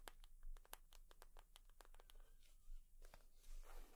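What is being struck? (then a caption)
Leather purse. Long nails tap and scratch on a leather purse, making a quick run of short, bright clicks followed by softer rustling scrapes. A steady low hum sits underneath, and the clip stays quiet throughout.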